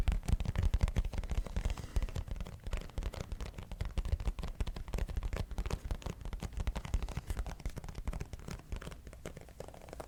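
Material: Cardboard.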